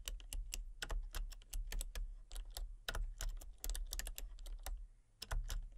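Fingertips and long painted nails type rapidly on a full-size backlit plastic RGB computer keyboard with hollow key switches and colour-cycling lights. Quick, uneven runs of sharp clicky taps with bright ticks sit over a low, hollow clatter, with brief pauses between bursts.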